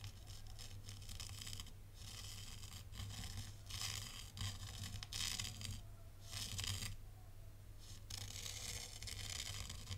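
A thin black stylus held in the fingers draws lines through fine white sand in a tray, scratching through the grains. Repeated bursts of crisp, bright, crunchy scratching rise and fall over a steady low hum near 100 Hz, with brief quieter pauses between strokes.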